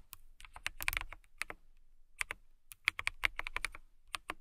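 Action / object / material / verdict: tap / plastic mechanical keyboard / plastic / none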